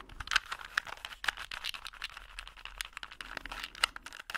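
A small solid plastic Rubik's cube with colored stickers is held in both hands while fingers twist its layers and nails tap on it. The result is a quick run of dry, bright clicks and clacks with slight crinkly rattles between them, each snap cutting off almost at once.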